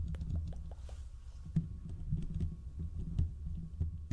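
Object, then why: Steel mesh microphone grille. Fingertips and short nails on both hands scratch the hollow domed steel mesh grille of a large desktop condenser microphone. The result is a dense, low rumbling scrape centered around 82 Hz, with short, sharp clicks that briefly flash up into the high range. Each click dies away almost instantly.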